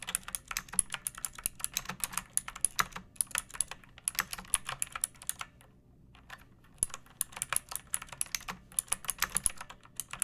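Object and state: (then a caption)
Plastic mechanical keyboard. Long painted fingernails type on a pink plastic mechanical keyboard with round keycaps and a hollow case, resting on a wooden surface. Rapid, bright, clacky keystrokes run steadily, with a brief pause just after the midpoint before the typing resumes.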